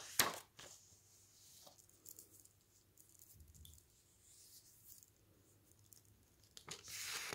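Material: Glossy paper.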